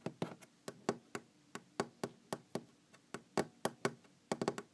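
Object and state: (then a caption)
Wooden object tapped. A wooden object is tapped and knocked in an irregular rhythm, about nineteen short, dry strikes with almost no ring. Some knocks are louder and fuller than others, and a quick cluster of them closes the clip.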